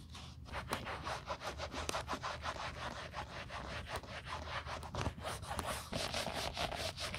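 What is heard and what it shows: A small, flat, hollow grey grained caviar leather YSL Wallet on Chain with white edges, held in gloved hands, is rubbed firmly across its quilted leather face with a white cloth wrapped over gloved fingertips. The result is a steady, dry, scratchy rubbing with repeated short bright strokes and a soft low rumble underneath.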